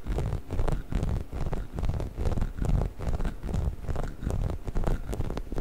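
A hollow orange rubber chicken toy is held upright while fingernails scratch across its bumpy body. The scratching comes as soft, dull, rumbling bursts that swell and fade in uneven waves at a brisk, irregular pace. The sound is mostly deep and muffled, with little brightness and no ringing after each stroke.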